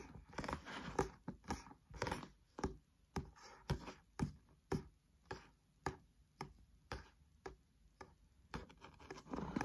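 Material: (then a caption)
Paper. Fingernails and fingertips tap and scratch the front card cover of a thick, solid green paperback textbook held upright. Short, dull taps with a bright, crisp edge fall in a loose rhythm of about two per second, with soft scratchy rustles between them. Each tap dies away almost at once.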